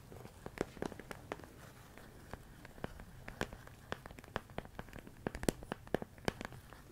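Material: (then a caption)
Plastic. A medium clear plastic storage container full of rice grains is tapped and scratched with fingertips and nails. Many quiet, sharp ticks and clicks are scattered irregularly over a soft, low scratchy hiss, and each click dies away almost instantly.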